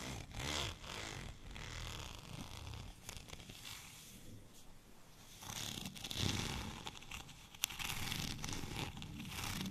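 A white plastic rolling pin with a studded, bumpy surface, long and cylindrical, is held in both hands and scratched along its textured surface with short natural nails and fingertips. Rapid, irregular raspy scratching, like a zipper, comes in bursts, with a bright hiss over a low rumble and one sharp tick near the end.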